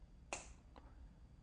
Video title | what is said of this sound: T-10 Parachute Hollywood JMPI sequence. U.S. Army Jumpmaster School | tap it with the knuckles of the right hand one time to ensure it sounds solid